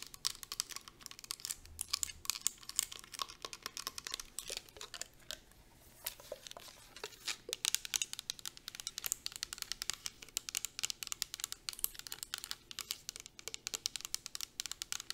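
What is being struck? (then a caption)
Plastic mist bottle filled with liquid. Long acrylic nails tap quickly on the sides and bottom of a clear plastic 250 ml fragrance mist bottle filled with liquid. The result is a dense stream of sharp, bright, dry clicks with almost no ring, easing briefly around the middle before resuming at full pace.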